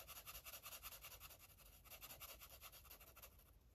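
An orange felt-tip marker rubs and scribbles across a paper coloring book page. Quick back-and-forth strokes make a soft, bright, scratchy hiss that pulses in a loose rhythm. It thins out slightly toward the end.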